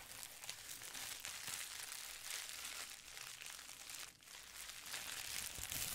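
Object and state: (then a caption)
Plastic bubble wrap crinkling. Long painted nails and fingertips scratch and rub a sheet of clear plastic bubble wrap folded into a small pad and held close to the microphone. The result is a steady stream of bright, dense crinkling and scratching, with a brief softer dip just past the four-second mark before the rubbing picks up again.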